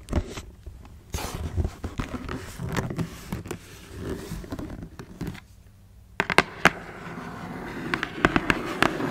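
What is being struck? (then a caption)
Cardboard shoebox. Long nails tap and scratch a closed black cardboard shoebox as it is turned to show its end, side and lid. Dry, crackly scraping runs through the clip, broken by short, sharp taps. After a brief near-silent pause, crisper, brighter taps stand out over a steady rustling scratch.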